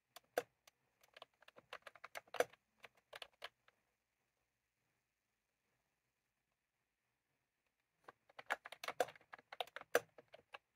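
Fingertips of both hands type continuously on a full-size plastic computer keyboard with round cream typewriter-style keycaps, resting on a desk. Quick, light clicks come in two bursts, separated by a pause of about four seconds. Each click is short and dry, with a mid-range tone and no low thump.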